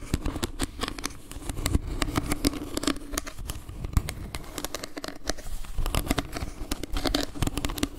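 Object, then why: Wooden log-slice trivet. Long painted nails tap and scratch across a round wooden log-slice trivet with carved leaves and a dark center. The result is a rapid, uneven run of short, dry clicks and crackly scratches over a faint, steady low hum.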